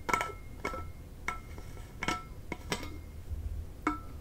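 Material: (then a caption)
Stainless steel. Long fingernails tap the loop-handle plastic cap and upper body of a medium, hollow, blue powder-coated stainless steel insulated water bottle, Hydro Flask style, and then the bottle is shaken. About nine short, bright metallic clinks ring with a steady high tone over a low, dull rumble, and each dies away quickly.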